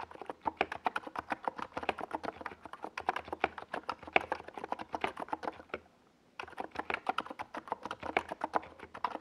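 Fingertips of both hands type fast on a NiZ Plum Atom 68, a compact 68-key mechanical keyboard with a white plastic case and purple and yellow Domikey Gas Attack SA plastic keycaps, resting on a desk pad. A dense stream of short, dry plastic clacks with a mid-toned body around 730 Hz and a bright top sounds for about six seconds. It pauses for roughly half a second, then resumes at the same quick pace to the end.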